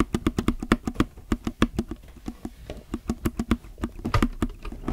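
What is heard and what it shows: Fingertips type on a low-profile mechanical keyboard with plastic keycaps, pressing the left-side keys and the yellow plastic spacebar. A quick, uneven run of short clacks is heard, each with a low hollow body around 230 Hz, a bright click on top, and almost no ring after.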